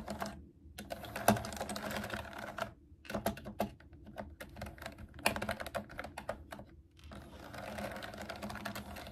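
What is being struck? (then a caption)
Plastic mechanical keyboard keys. Long nails type fast on a pastel plastic mechanical keyboard with round keycaps resting on a table. The clip is dense, quick clicking and scratchy clatter in bursts, with short pauses and a few louder taps between runs.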